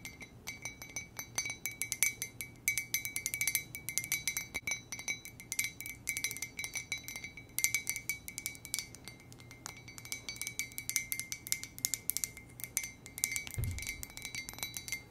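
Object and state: Ceramic mug tapped with nails.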